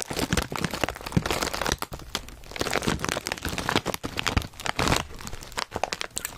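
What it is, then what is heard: Full foil-lined chip bag. Hands squeeze and crinkle a full Zapp's potato chip bag made of foil-lined plastic while fingertips tap on it. Dense, bright crackling and crinkling runs throughout in uneven bursts, with soft low thumps from the taps and brief dips between squeezes.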